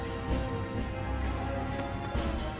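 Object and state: Nothing is struck.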